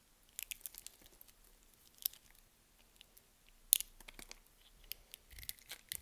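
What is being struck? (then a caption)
Bar of soap cut with a blade. A box-cutter blade carves and scrapes chunks off a solid, palm-sized green bar of soap held in the hand. Around seventeen quiet, crisp, bright crunching clicks and short scrapes are heard, each dying away almost instantly, with a couple of sharper cracks standing out.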